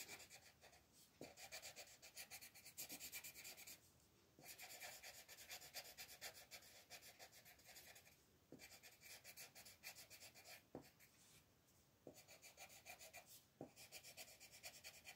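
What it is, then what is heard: Paper coloring page. A wooden colored pencil rubs across a thin paper mandala coloring page lying on a table in many quick shading strokes, while the other hand rests on the sheet. The result is a soft, bright, dry scratching that comes in steady bursts separated by a few brief pauses.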